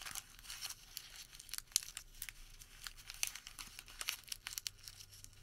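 A small wad of printed thermal paper receipt is rolled and crinkled between fingertips. It makes a steady run of quiet, bright, dry crackles and tearing-like rustles, with sharp short snaps that die away instantly and almost no low end.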